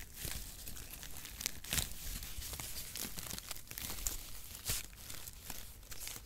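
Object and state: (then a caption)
Cardboard packaging shreds being crumpled. Brown perforated cardboard packaging strips are crumpled and rubbed between fingers, giving a steady, dry crackling and rustling. Bright papery crinkles are punctuated by sharper crunches, over a faint low rumble.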